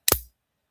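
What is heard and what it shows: A layered charm with a neodymium magnet set inside snaps onto a neodymium magnet anchor, making a short, solid click with a bright, crisp snap that dies away almost at once. The firm click shows the charm is seated properly and will hold on the garment.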